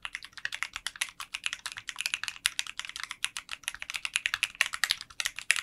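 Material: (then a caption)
Polycarbonate. A 60% mechanical keyboard with translucent pink polycarbonate keycaps in a clear case is typed on continuously with fingertips. Fast, bright, short clacks with almost no low end run together in a steady stream.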